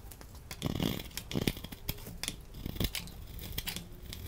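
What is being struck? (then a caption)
Laundry soap bar. A utility knife blade scrapes thin curls off a solid orange laundry soap bar held in the hand. The result is a steady run of dry, crisp scraping and crackling strokes with brief bright edges and a soft low body. The sound stays close and quiet throughout.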